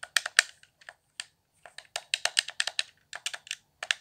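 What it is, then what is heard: Plastic game controller. Fingertips tap the face buttons, thumbsticks and shell of a hollow, handheld, transparent plastic Xbox One controller lit blue. About twenty quick, dry, bright clicks and taps come in irregular bursts with short pauses. Each one stops almost instantly, with no low-end body.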